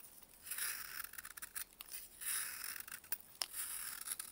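A solid, chalky block of dried baking soda, held in a gloved hand, is carved with a metal blade as crumbs fall away. Quiet, bright, gritty scraping comes in several drawn-out bursts, broken by short, sharp crunching clicks, with almost no low end.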